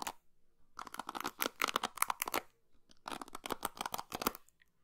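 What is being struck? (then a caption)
Plastic paddle hairbrush with plastic pins. Long pink fingernails scratch and strum across the white plastic pins of an orange and blue plastic paddle hairbrush held in one hand, close to the microphone. Two bursts of rapid, bright, dry clicking and scratching separate into quick ticks with a short pause between them, and each tick stops instantly without ringing.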